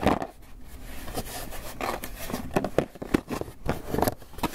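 A closed, hollow white polystyrene foam clamshell takeout box is held in both hands and tapped and scratched with fingertips and nails. It gives dry, hollow taps mixed with squeaky, scratchy scraping, each hit dying away almost instantly.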